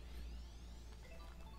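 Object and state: Nothing is struck.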